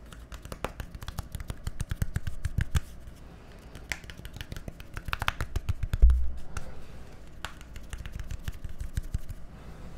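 A small, hollow, labeled plastic bottle with a green cap is scratched and tapped with fingernails. The result is a dense, irregular run of short, dry clicks and scratches with a low, thumpy body and quick decay. A louder knock lands about six seconds in.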